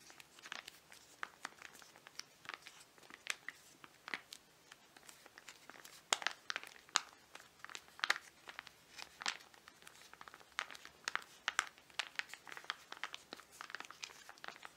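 Fingertips and nails crinkle and scratch a flat, filled foil-laminate mud mask sachet held in both hands. The result is a steady run of quiet, dry, crisp crackles and sharp scratchy ticks. The sound is bright and high-pitched, with no low-end body, and each snap dies away almost instantly.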